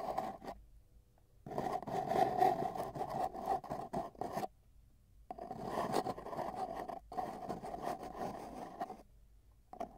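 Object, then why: Cardboard tube. Metal tweezers held in both hands scratch and tap along a long, hollow, empty brown cardboard tube with tape bands, lying on a bedsheet with a microphone inside, working toward the ends. Bursts of dry scraping and rubbing carry a hollow, boxy resonance around 750 Hz, broken by brief quiet pauses.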